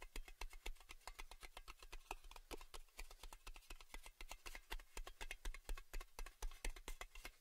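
Fingernails rapidly tap and scratch across the embossed underside of a round metal Baileys tin lid held face-out. The result is a quick, uneven run of short, bright metallic clicks with almost no ring, over a low background rumble.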